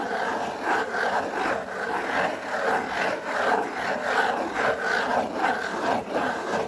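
Fingers rub and scratch across a large, flat, brown corrugated cardboard sheet. The result is a steady, dry, papery scraping in back-and-forth strokes, with its texture concentrated in the midrange.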